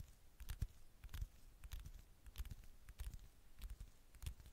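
Long manicured fingernails tap and scratch the gold metallic back of a flat, thin handheld smartphone, its camera lens facing out. Quiet, irregular clusters of soft low thumps mix with brief, bright clicking and scratching against faint background hiss.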